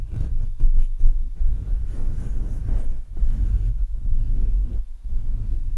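Fingertips scratch and tap the metal mesh grille of a black Blue Yeti microphone, producing a continuous deep, boomy rumble. Uneven, muffled thumps rise out of the low-frequency scraping, with almost no high or bright content.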